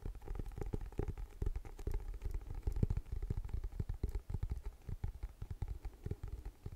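Medium-length painted nails tap quickly and irregularly on the floral-printed, paper-covered cardboard cover of a closed, solid, A5-size hardcover planner held up in both hands. Each tap is a short, dull, low thud with almost no ring, and the taps run densely through the whole clip.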